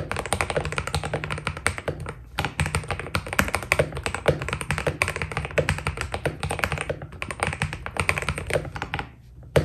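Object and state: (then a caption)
Mechanical keyboard with PBT keycaps. Fingertips of both hands type continuously on a white full-size Keydous NJ80 mechanical keyboard with a steel plate, foam dampening and PBT plastic keycaps. A dense, steady stream of short, dry key taps is heard, each with a deep, muted thock and a bright click on top. The typing eases briefly just before the end, then one last key press sounds.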